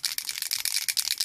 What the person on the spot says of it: shake it up really good you can hear that there's two little mixer balls